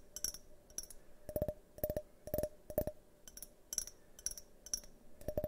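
A hand-sized, hollow, multicolored tinted glass drinking tumbler is held on its side in front of the microphone and tapped with fingernails. Quick, irregular bursts of light taps alternate between a mid ringing tone near 600 Hz and a bright, high glassy ping. Each tap dies away almost at once.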